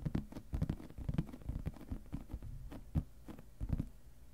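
Fingertips and nails tap and scratch the lid of a clear plastic storage box full of papers, with both hands resting on the lid the whole time. The result is a rapid, irregular series of soft, muffled low thumps with almost no ring, over a faint low hum.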